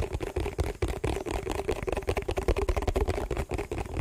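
A hollow, empty yellow printed plastic food tub is held in the hands and tapped and scratched with fingertips and nails. The result is a quick, irregular stream of soft, dull thumps over a hollow mid-range ring, with short scratchy rustles between taps. Each tap dies away almost instantly.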